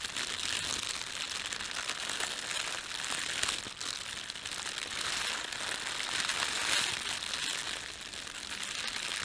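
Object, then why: Thin plastic bread bag. A thin red-and-white printed plastic bread bag from a bakery lies flat while both hands rub and press it with their fingertips. The result is a steady, continuous crinkling that is bright and high-pitched, with almost no low end, swelling and easing slightly over about nine seconds.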